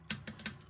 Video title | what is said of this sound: Nicks-ellaneous ASMR 1st Whisper Edition Tingles 1 SD 480p | It's not a hollow bottle, so it's not necessarily um the same effect as if you had a hollow thing, but there's some tapping there